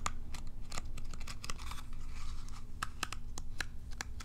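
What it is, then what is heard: Plastic cat self-groomer brush. Long nails scratch and flick across the rows of short plastic bristles on a palm-sized, curved, hollow plastic cat self-groomer brush. The result is a run of dry, crackly scratches and sharp, bright ticks, some with a faint ringing tone around 1.3 kHz, over a steady low hum.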